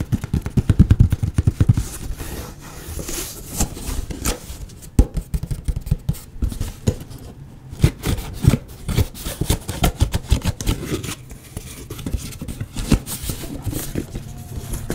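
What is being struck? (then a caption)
Small cardboard box. A small, hollow, white printed cardboard box is held in both hands and scratched and tapped with fingertips and nails. Rapid, dense taps and scratching produce dull, low, hollow thuds with very little brightness. Each hit dies away almost instantly, and the loudest flurries come near the start and again around the middle.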